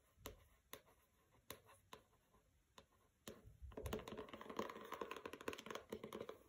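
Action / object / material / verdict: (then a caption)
tap / paper-covered hardcover book / cardboard / none. Long nails tap a pink paper-covered hardcover book, "Don't Overthink It," lying on carpet with a fabric bookmark untouched beside it. Six sharp, separate taps come first, then a dense, brighter stretch of rapid scratching and tapping across the cover that lasts to the end.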